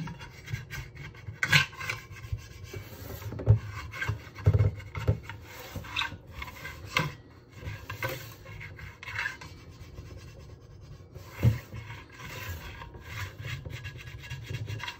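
Both hands scrub the inside of a medium red enameled cast iron pot with a sponge; the pot has a cream enamel interior and a cast iron body, is hollow and empty except for a little soapy water, and rests in a steel sink. A steady rasping, rubbing scrub carries a low, boomy body, broken by several sharper knocks and bright swishes.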